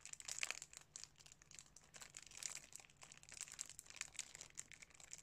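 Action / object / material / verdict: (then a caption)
scrape / plastic DVD case in cellophane film / cellophane / none. A sealed DVD case in clear cellophane wrap is crinkled and rubbed across the front by fingertips. The result is a steady run of quiet, bright crinkling and rustling with many small crackles and no low rumble.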